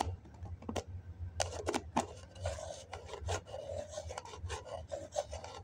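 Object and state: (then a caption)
Foam cup with plastic lid, scratched. A fingertip and fingernail scratch the side wall of a hollow white foam cup with its plastic lid on. The result is a series of short, dry, raspy scraping strokes over a steady low hum.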